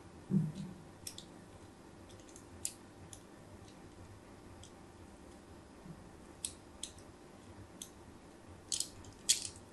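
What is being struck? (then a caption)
Bar of soap scored with a metal blade. A metal blade scratches diagonal score lines into a solid white embossed soap bar held in a hand with pink nails. Eleven short, bright scraping strokes stand out over a quiet, steady background hiss, beginning with a soft thud. Each scrape ends almost at once.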